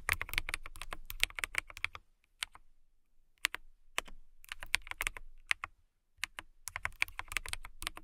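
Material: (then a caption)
Acrylic. Long nails and fingertips type on a transparent acrylic mechanical keyboard with clear keycaps. Bursts of crisp, bright clacking keystrokes are broken by two short pauses. Each dry, sharp tap dies away almost instantly.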